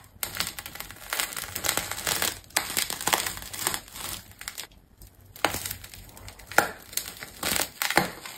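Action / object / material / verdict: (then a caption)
scrape / large ball of layered plastic tape / plastic tape / none. A metal craft knife slices the top off a large, solid ball of layered plastic tape wrapped in green, exposing colored rings inside. Dense, bright crackling and crinkling rise and fall in bursts as the blade cuts through, with sharp snapping peaks near the end and almost no low end.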